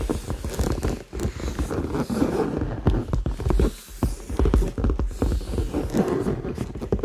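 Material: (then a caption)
Leather. Fingertips tap and scratch the sides and top of a hollow red leather handbag held in both hands, possibly touching its zipper. A quick, steady run of soft, dull taps with very short decay comes through, mixed with light scratching. The sound sits mostly in the low range.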